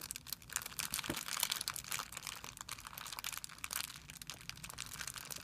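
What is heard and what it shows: A hand pinches and crumples a thin, clear plastic film bag with its fingertips on a white surface. The result is a steady, quiet run of dense, bright crinkling and crackling, mostly high in pitch, with very little low end.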